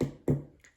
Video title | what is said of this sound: Gulab Jamun Creme Brûlée | as you can hear my sugar has hardened which is quite good